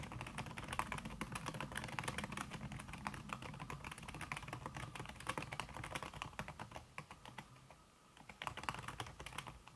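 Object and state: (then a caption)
Laptop keyboard with silicone cover. Fast typing by fingertips with long red nails on a backlit laptop keyboard in a silver aluminum body, its keys covered by a thin red silicone skin. A steady stream of quick, soft, muffled key taps runs throughout, briefly easing off near the eighth second before resuming.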